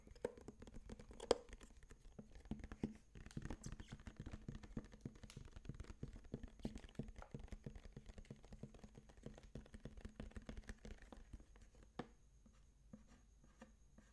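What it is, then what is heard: Plastic lunch box. Fingernails scratch and trace across the translucent dark green lid of a closed, empty-looking sage-green plastic bento box, about 20 cm long and hollow, with moulded cutlery on the lid, held in the hands. The sound is quiet and dull: a steady stream of soft scratching mixed with dense small clicks and ticks, easing off near the end.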